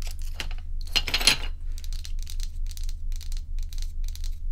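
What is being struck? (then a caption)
Ice cubes in a plastic bowl. Long acrylic nails tap and scratch solid crescent-shaped ice cubes in a white plastic bowl. Bright, crackly clicks and scrapes come in uneven bursts, with a louder scratching flurry early on over a steady low hum. The clicks are short with almost no ring.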